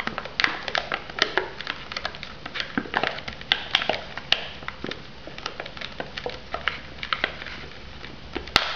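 Long nails tap rapidly and irregularly on the sealed lid and sides of an unwrapped foam instant noodle cup. The result is a dense stream of short, dry, bright clicks with almost no ring, some landing sharper and louder than others over a faint hiss.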